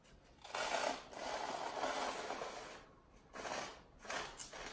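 Fingertips rub and scratch the surface of a long, solid, rectangular white expanded polystyrene (styrofoam) block held in one hand against a white wall. The result is dry, squeaky, scratchy rubbing in several bursts with short quiet gaps between them, centered in the mid range with a bright hiss. By the end, only the holding hand remains on the block.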